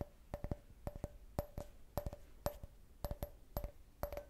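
Long nails tap and scratch the side of an empty, hollow clear glass cup shaped like a beer can with a printed logo. Quick, separate taps come in small irregular clusters, each a sharp click with a brief glassy ring around 580 Hz that dies away almost immediately.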